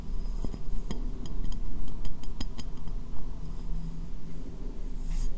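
A medium, hollow, empty white ceramic bowl is turned upside down over the microphone and tapped on its base and sides with fingernails. Sharp, bright clinks come at an uneven pace and die away quickly over a steady low rumble.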